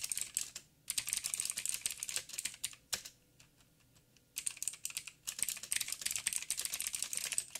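Fingertips of both hands type on a backlit 87-key mechanical keyboard with plastic keycaps and clicky blue switches. The result is rapid bursts of sharp, bright clicks with almost no low end and a very short decay. The bursts are broken by a brief pause near the start and a longer quiet gap in the middle.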